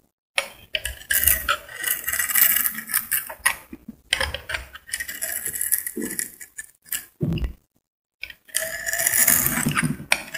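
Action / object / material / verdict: scrape / bar of soap / soap / none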